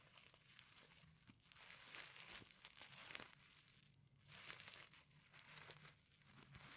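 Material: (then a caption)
Sequins. Fingernails scratch across the reversible sequins covering a flat fabric pencil case. The result is a quiet, bright, crinkly rasp that rises and falls in uneven sweeps, with tiny ticks from the individual sequins flipping.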